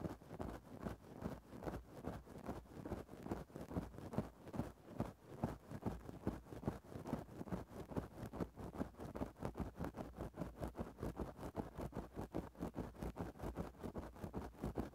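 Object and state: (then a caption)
Fluffy fur microphone windscreen being scratched. A thin bamboo stick pokes and scratches into a grey synthetic-fur microphone windscreen. It makes a soft, muffled, fuzzy rustle that pulses in quick, fairly steady strokes of about two to three per second. The sound is heavy in the lows with almost nothing bright on top.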